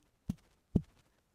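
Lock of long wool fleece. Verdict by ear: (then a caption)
Sound. A long, lustrous lock of Leicester Longwool wool is held at both ends and snapped taut for a ping test. Two short, dull, low-pitched pings are heard with no crackling, showing a sound fleece with a good ping.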